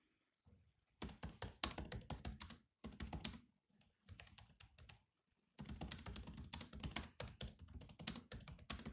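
Fingertips type on the black plastic keys of a grey laptop keyboard. Quick bursts of bright, clicky taps with low thumps underneath are broken by short pauses, and each tap ends dry and fast.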